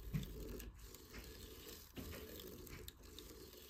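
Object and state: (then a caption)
Sisal rope scratching post. Fingers and nails scratch up and down a cat tree post tightly wrapped in coarse sisal rope. The result is a soft, continuous, low-pitched rasping rustle, with slightly louder strokes near the start and around the two-second mark.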